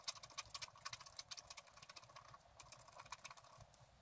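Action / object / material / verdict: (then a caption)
scrape / scratch art paper sheet with wooden stylus / coated paper / none. A wooden stylus scratches a fox in the lower right of a thin, flat sheet of scratch art paper. Quick, irregular, bright scratching strokes and soft ticks follow one another at a low level, with little low-end.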